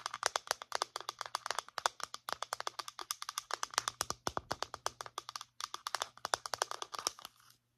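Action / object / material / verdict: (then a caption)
tap / plastic lotion pump bottle / plastic / none. Long nails tap quickly on the body of a medium-size white plastic lotion pump bottle held sideways, making a steady run of dozens of crisp, bright clicks. Each tap is dry and short, with brief pauses in the rhythm, over a faint low hum.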